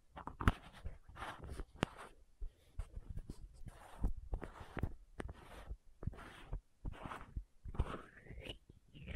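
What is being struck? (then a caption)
Small plastic contact lens case. Long nails tap and scratch the lids of a small, hollow plastic contact lens case with green and white caps. Quiet, sharp clicks mix with short, brushy scratching strokes, and the sound is mostly dull and low with little brightness.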